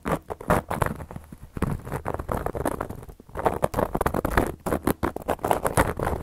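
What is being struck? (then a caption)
Cork coaster. A hand with long yellow nails scratches and traces a carving tool across a solid, round, flat cork coaster. The result is a dense run of dry, rasping scratch strokes in quick bursts, with a brief lull around the middle. Each stroke stops dead with no ring.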